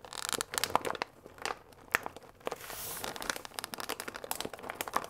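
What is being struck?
Paper pasta bag with plastic window.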